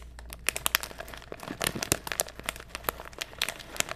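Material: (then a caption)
Plastic foil. A small printed foil-lined plastic snack bag, apparently sealed with contents inside, is held in one hand close to the microphone and crinkled and squeezed by the fingers. Dense, bright crinkling and sharp crackles continue throughout, with louder snaps standing out over a steady low hum.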